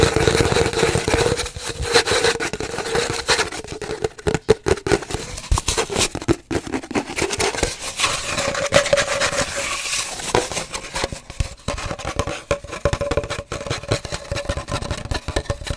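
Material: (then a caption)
Cardboard. Fingernails scratch and rub along an empty, hollow cardboard paper towel tube held horizontally. The result is a steady stream of dry, crackly scraping, with many quick bursts and a hollow hum near 430 Hz that rises toward about 600 Hz in the second half.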